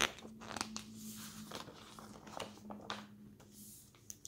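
Fingers grab and flip the pages of an open glossy paper magazine on a table in quick succession, making bright, crisp rustles and crinkles. Sharp page snaps stand out over a faint, steady low hum.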